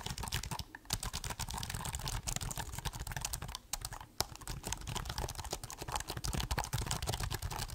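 Fingertips type on the black plastic keys of a silver laptop held upright, producing a rapid, continuous stream of short, dry clicks and taps with a low thump under each press. Brief pauses come just before one second and again near three and a half and four seconds, with a single sharper tap at about four seconds.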